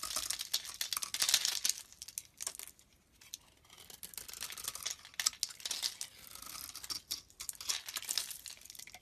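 A blade scrapes and shaves flakes off a solid green stamped olive-oil soap bar held in the hand. The sound is dense, crisp scratching with almost all of its energy in the high, bright range, pausing briefly in a quiet lull before the shaving resumes.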